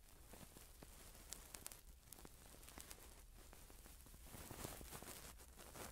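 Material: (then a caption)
Silicone. A cotton swab on a long wooden stick rubs and scratches inside the ear canal of a hand-sized, soft, skin-coloured silicone ear model held in one hand, with a pin microphone clipped behind it. The sound is a close, quiet, continuous scraping and rustling with a low rumble underneath. Sharp little clicks and crackles pop out above it.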